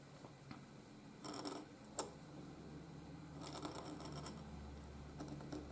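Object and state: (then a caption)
Paper scratched by a nib. A steel nib in a wooden holder scratches across a flat sheet of white gridded paper while writing letters. Quiet, bright rasping strokes come in short bursts over a low steady hum, with a sharp tick partway through. The sound is a soft, papery scratch that stops and starts with each letter.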